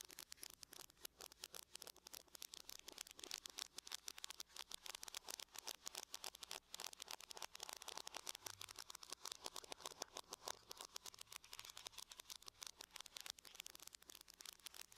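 Long nails tap rapidly across the lid of a closed silver aluminum laptop, with both hands working together. The result is a dense, quiet stream of sharp, bright clicks that stop instantly, with almost no low end, continuing for the full fifteen seconds.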